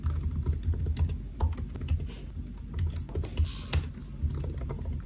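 Fingertips of both hands type steadily on a solid silver aluminium laptop with black plastic keys resting on a white desk. The key taps are quick, soft, and dull, with most of their weight in a low thud and little high-end click. Each tap dies away almost at once, forming a continuous, uneven patter.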